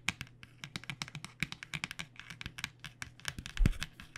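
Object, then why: Cardboard box filled with pens. Long nails tap rapidly on the printed back of a flat cardboard box filled with paint pens, making about 30 quick, dry, bright clicks with very short decay over a steady low hum. One heavier, fuller tap lands near the end.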